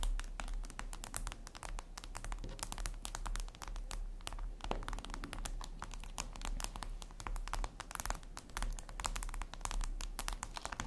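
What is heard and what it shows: Long red nails tap rapidly across a flat, glossy black glass surface, likely a tablet screen. Dense, crisp clicks and light scratches follow one another without pause over a steady low hum.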